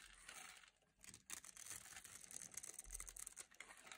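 A small metal utility blade carves and scrapes flakes off a solid, hand-sized, blue-and-white striped bar of dry soap held in long glitter nails. The result is a quiet, dense run of crisp, dry scraping and crackling with bright, crunchy texture and no ring.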